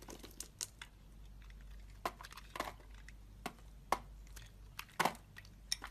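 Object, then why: Bar of soap cut with a blade. A box-cutter blade slices curls off a hand-held, solid rectangular bar of coral and white striped soap, with its packaging lying nearby. Each cut makes a short, dry, crisp crackle with bright edges. The cuts come in a quick, irregular series over a faint low hum.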